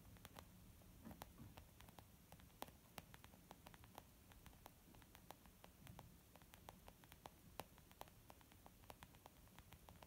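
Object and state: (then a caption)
Leather makeup bag. Long nails and fingertips tap rapidly on a white textured leather zip pouch used as a makeup bag. The irregular taps are short, dry clicks with a bright edge, set over a low, steady hiss and hum.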